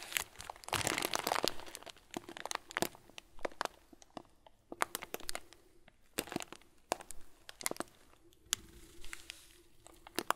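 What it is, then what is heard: Plastic bag of small plastic beads. A clear, hand-sized plastic bag full of small white plastic pearls is held in both hands and squeezed and crinkled. A dense burst of bright crinkling and rustling is followed by scattered sharp crackles and clicks over softer, continuous rustle, with a faint low hum underneath.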